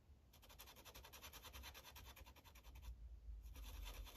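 A yellow Sharpie marker tip rubs back and forth in quick coloring strokes on a thin paper coloring page resting on a clipboard. Each stroke makes a soft, bright scratching swish over a steady low rumble. The strokes pause briefly just before the three-second mark, then resume.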